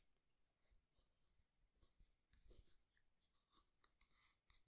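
Fingernails scratch and stroke the palm and fingers of a solid, jointed, life-sized wooden artist's hand model. The result is quiet, dry scratching and brushing with short bright bursts, some soft taps, and a faint low rumble underneath.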